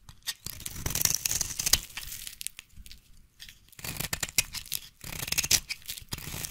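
A solid white bar of soap held in one hand is carved and scraped with a small blade, and scissors scratch its surface partway through, while shavings fall onto a pile of soap flakes. Dry, bright, crackly rasps and scrapes come in uneven bursts separated by brief quiet gaps, with little low-end weight.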